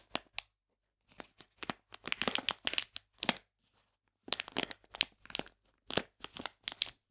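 A full plastic bag of polenta is held in the hands while fingers crinkle and squeeze its folded edges. Bursts of bright, dry crinkling and crackling come in irregular clusters with short silent gaps, each sharp and quickly fading.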